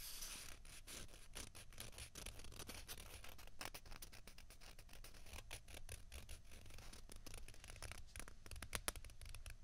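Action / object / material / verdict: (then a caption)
scrape / plastic ping pong balls / plastic / none. Fingertips and nails rub and scratch a small, hollow, white plastic ping pong ball held in each hand. A continuous run of quick, dry, bright scrapes and rustles rises and falls over a steady low hum, with no ring after each stroke.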